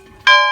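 A metal church bell, over 100 years old and no longer rung, is struck once after a quiet, low murmur. It gives a loud, clear, bright ring with steady overtones that hold and slowly fade. Despite fears it might crack, the bell still rings and works.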